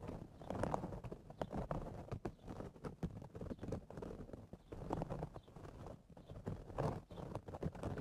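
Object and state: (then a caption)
Woven straw hat. Fingertips and nails rapidly tap and scratch the crown top of a woven straw cowboy hat. The result is a dense run of quick, dry taps mixed with scratchy rustling, mostly low and mid in tone with little high brightness. Each tap dies away almost instantly.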